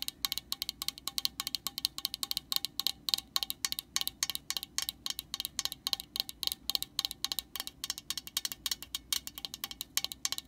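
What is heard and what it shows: A long fingernail taps rapidly and repeatedly on the top of the orange, hollow plastic cap of a metal aerosol can, close up. About sixty short, separate taps give off bright, dry clicks that die away at once, with almost no low end.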